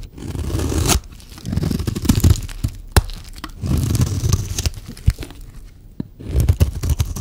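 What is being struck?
Bar of soap.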